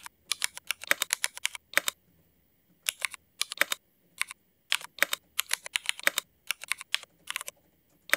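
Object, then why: Mechanical keyboard with ABS plastic keycaps. Fingertip typing with both hands on a mechanical keyboard with Cherry MX switches and black ABS plastic keycaps produces rapid bursts of short, bright, clacky keystrokes. The bursts are separated by brief pauses, and each click dies away almost instantly.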